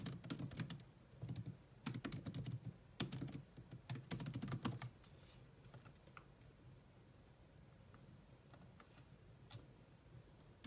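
Long nails type fast on a grey laptop keyboard with low-profile plastic keys, sometimes with both hands. Dense bursts of short, bright clicking taps fill the first five seconds, then thin out to a few scattered taps over a steady low background hum.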